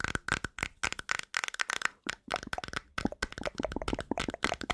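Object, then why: Small plastic cream jar with a screw lid. A small, hollow, round white-and-blue plastic cream jar is held in the hands while long nails tap and scratch its white lid. About 21 sharp, dry clicks with very short decay come in quick bursts, with a clear plastic ring near 1.5 kHz and bright scratchy edges.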